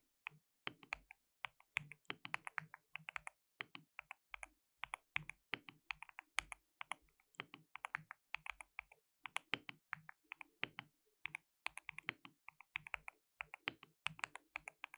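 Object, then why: Mechanical keyboard with plastic keycaps. Fingertips rapidly type and tap on a white RGB-backlit compact mechanical keyboard with plastic keycaps and a hollow case. The result is a quiet, steady stream of sharp, bright clicks with almost no ring and very little low end, falling into uneven bursts with brief pauses between them.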